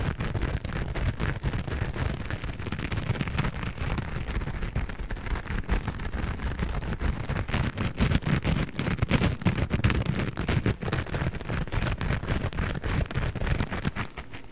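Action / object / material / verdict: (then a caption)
scrape / cellulose kitchen sponge with abrasive scouring layer / cellulose / none. A hand-sized, rectangular yellow cellulose kitchen sponge with green abrasive scouring layers, porous and soft, is held beside the microphone and squeezed, scratched and rubbed with fingertips and nails. The result is a dense, continuous stream of close crackling, rustling scrapes with a heavy low rumble and little high-end brightness. It holds a steady level throughout, swelling slightly in the middle and fading a little at the end.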